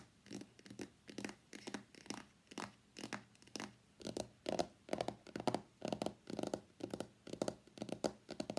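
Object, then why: Cardboard box. Fingertips and nails tap across the back of a hollow white cardboard iPhone X box. The result is a quick, uneven run of soft, dry taps with a hollow mid-low body and almost no ring, some strikes brighter and scratchier where the nails catch the surface.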